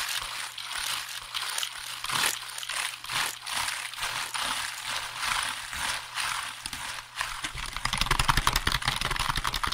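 Fingertips tap and press the keys of a hollow black plastic computer keyboard held up by the microphone, making quick, dry, bright clicks and rattles over a faint low hum. Near the end the tapping speeds up into a dense, louder burst of rapid clicks.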